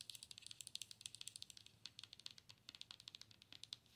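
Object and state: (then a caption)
Plastic owl night light. Long pointed nails tap the side and front of a hollow plastic owl night light held by its base, making around thirty quick, bright, clicky taps in a rapid, uneven patter. Each tap is dry and stops almost instantly, with almost no low end.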